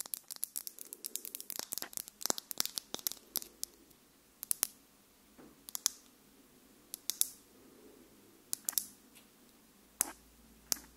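Long pink nails tap and scratch a small clear plastic lip gloss tube with pink contents and a silver cap, held in the hands close to the microphone. A dense flurry of quick, dry, bright clicks and scratchy ticks thins out into sparser, sharp taps with almost no ring and a faint low hiss between them.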